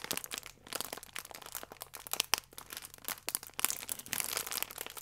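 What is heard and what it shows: A soft plastic wrapper with a croissant inside is squeezed and rubbed by fingers and nails, producing dense, bright crinkling and crackling with almost no low end. Sharp snaps poke out of the rustle, with a brief lull near the start and louder bursts later in the clip.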